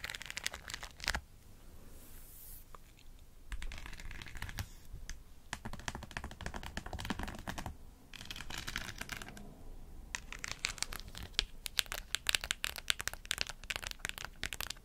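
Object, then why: Fabric cap covered in plastic pearls and rhinestones. Long acrylic nails scratch and tap across a white fabric cap covered in plastic pearls and rhinestones. The result is rapid, dry, bright clicking and rattling in dense bursts, separated by a few brief quieter pauses.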